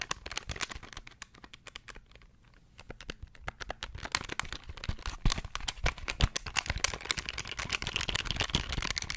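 A small beige plastic pocket calculator is held in the hands beside the microphone while its plastic buttons are pressed rapidly with the fingertips. Quick, irregular, dry clicks and taps follow one another with no ring. After a brief quieter gap around two to three seconds, the clicking returns louder and denser, with a bright crisp edge.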